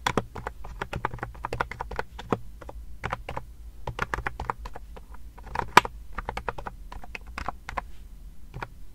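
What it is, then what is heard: Plastic keyboard keys being typed. Fingertips and long nails type and click on the round keys of a pastel plastic wireless keyboard, held sideways and then laid flat near the mic. A rapid, uneven stream of short, sharp plastic clicks and taps sounds over a steady low hum, with one brighter, louder click near the end.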